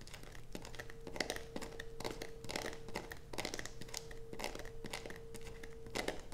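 A solid blue bar of soap rests on a black plastic sheet, steadied by one hand while the long nails of the other hand scratch and scrape across it. The result is a run of quick, dry, crinkly scraping bursts with bright high edges. A faint steady tone near 470 Hz hums underneath throughout.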